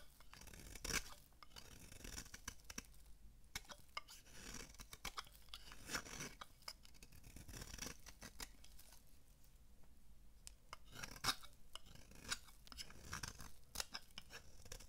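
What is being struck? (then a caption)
Bar of soap shaved with a metal blade. A metal blade shaves curls off the surface and edge of a solid, palm-sized, oval purple bar of dry soap held in the hand. The clip is a quiet run of dense, crisp scraping and crunching strokes with bright, dry texture and short, sharp peaks that die away at once.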